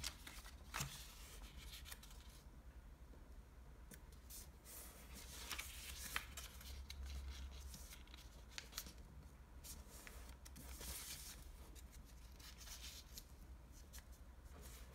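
Fingertips crease and fold the corners of a folded sheet of navy blue Japanese origami paper against a table. Soft, crisp paper rustles and sharp, bright crinkles come and go over a steady low hum. The overall level stays quiet.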